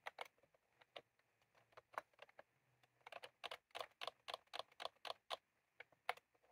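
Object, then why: Plastic computer keyboard with round keycaps. Fingertips of both hands type continuously on a full-size plastic computer keyboard with round cream typewriter-style keycaps resting on a desk. About nineteen quick, bright clicks come in an uneven rhythm with brief pauses, each dying away almost instantly.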